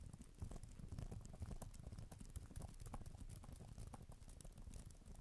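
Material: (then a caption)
Plastic. A black tablet type-cover keyboard with plastic keys is typed on with fingertips and long nails, with an echo effect added. A dense, uneven stream of quick soft clicks and taps is heard, mostly low and dull with brief bright ticks, blurred together by the echo.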